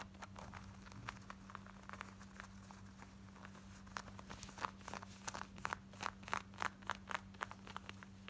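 Long nails scratch and tap on the front and back pockets of worn, light blue distressed ripped denim shorts, making fast, dry, crinkly scratching over a steady low hum. The scratching is soft and dense at first, then turns into sharper, louder bright taps in the second half.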